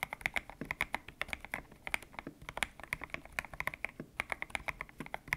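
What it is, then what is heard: Mechanical keyboard with PBT keycaps. Fingertips type quickly on a white-cased mechanical keyboard with grey and pink PBT plastic keycaps, its hollow case resting on a desk mat. A steady stream of short, bright clacks is heard, each with a sharp tone around 2.2 kHz and almost no ring, over a light hollow thock from the case.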